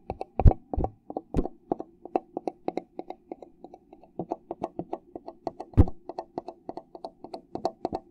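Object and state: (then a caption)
Plastic cup. A fingertip taps and rapidly scratches the flat base of a red plastic party cup held upside down. It makes a quick, uneven run of dry, hollow clicks with almost no ring, a few of them hitting noticeably harder with a low thump, over a faint, steady scratching hum.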